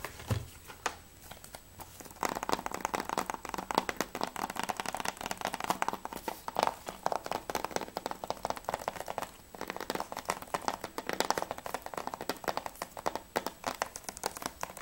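Fingernails tap rapidly on the front plastic sleeve of a Battlefield Bad Company PS3 plastic game case with a white cover. After a quiet first two seconds, a dense stream of sharp, dry clicks with a hollow plastic tone around 900 Hz and bright edges begins. It briefly pauses near 9.5 seconds, then continues to the end.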